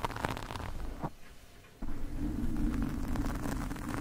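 Metal fork tines scratch along the sides and top of a black porous foam microphone windscreen, producing a dense, low, rumbling scrape with little high-end content. The scratching fades to a quiet lull partway through, then resumes abruptly and louder, continuing as a steady, rough rasp to the end.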